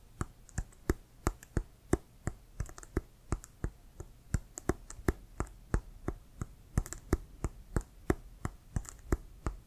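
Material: Leather.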